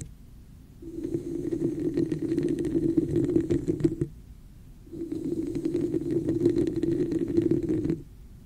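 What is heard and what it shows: Long nails tap and scratch the sides of a hollow red textured plastic cup with an embossed pattern, held over the microphone. Two bursts of quick, uneven tapping and scraping are heard, with a short pause between them. The cup gives a muffled, hollow resonance with a low-mid body and faint bright ticks.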